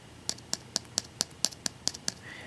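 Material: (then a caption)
Carbon composite. A Luminox Navy Seal 3065 watch case made of polycarbonate/carbon composite is tapped nine times at a steady pace. Each tap is a light, dry, high-pitched click that dies away at once with no metallic ring. The case sounds like carbon composite rather than stainless steel.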